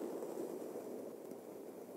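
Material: Nothing is struck.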